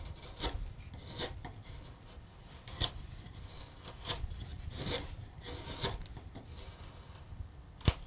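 A steel gouge is pushed by hand across a large solid wood relief carving with acanthus scrolls, paring and scraping the wood. Bright, rasping scrapes and short sharp cuts come at irregular intervals over a quiet, low rustling background, with the last cut the loudest.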